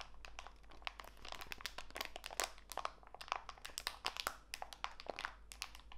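A small clear plastic bag full of walnut pieces is squeezed by fingertips, so the plastic crinkles and the nuts crunch. Dense, sharp, bright clicks and crackles come in quick irregular bursts over a steady low hum, with no ring after each snap.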